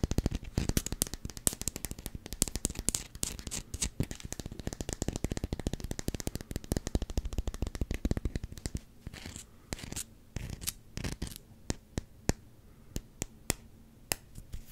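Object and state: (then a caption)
Rubber hockey puck. Fingernails scratch and tap the rim and face of a solid black rubber hockey puck with a Canucks logo. A dense, rapid run of dry, dull scratches and clicks lasts about nine seconds, then slows into sparse, separate sharp taps with quiet gaps between them.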